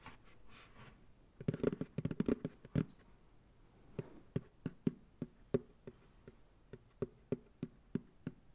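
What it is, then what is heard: Plastic pail tapped. Fingertips tap the base of a medium white plastic ice cream pail, hollow and empty, resting upside down on a lap. A quick, dense flurry of hollow, drum-like thuds gives way to a slower series of separate, evenly spaced taps. Each tap is short and dry, with a low-mid body around 230 Hz and almost no ring.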